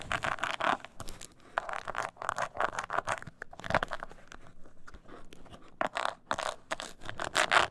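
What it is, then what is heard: Leather mini purse being scratched. Long nails scratch the bottom and sides of a small, hollow, croc-textured embossed leather mini purse. Bursts of dry, rasping scratches come in uneven strokes, some aggressive and some gentle, with bright energy centered in the mids. The strokes pause briefly between passes.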